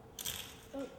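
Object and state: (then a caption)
Frozen brittle plant leaf. A plant leaf frozen in liquid nitrogen shatters with a bright, glassy, brittle crackle, mostly high-frequency, followed by a short tonal ring. The cold has burst the leaf's water-filled cells, so the plant will no longer photosynthesize and will turn brown.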